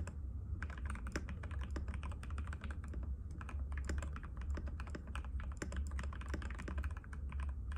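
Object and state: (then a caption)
Plastic mechanical keyboard being typed on. Fingertips of both hands type continuously on a compact cream-white mechanical keyboard with plastic keycaps and a hollow case, resting on a glass table. A rapid, uneven stream of short, crisp clacks with bright edges sits over a steady low rumble. Each tap dies away almost instantly.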